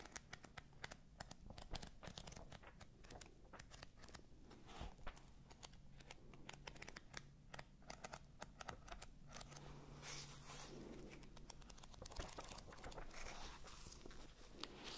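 Fingers with long nails riffle and handle the pages of a thick paperback book, making a dense stream of quiet, crisp rustles, crinkles and light scratchy ticks. The sound stays soft and close throughout, with bright paper edges over a faint low steady hum.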